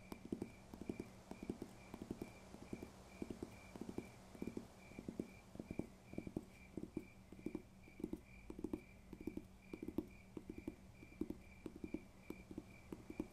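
Steady, rhythmic tapping on a paper textbook produces soft, dull, short knocks with a low-mid body and almost no ring. A faint constant high tone hums underneath throughout.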